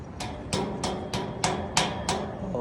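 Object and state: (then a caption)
Iron bridge railing. The iron railing of the Sirahit bridge on the Rantau Sialang route in South Aceh is knocked repeatedly to test whether knocking on the iron calls crocodiles. A steady series of sharp, hammer-like metallic knocks rings out, each with a bright, brief ring. No crocodile appears.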